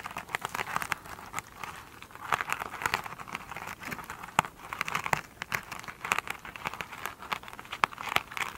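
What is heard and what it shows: Long pointed nails scratch and tap the sparkly surface of a foam sponge covered in glitter mesh, resting on a table. Dense, crinkly scratching centered in the mid range mixes with sharp, clicky taps that reach up into bright highs, with almost no low end. The sound comes in uneven, rustling bursts throughout.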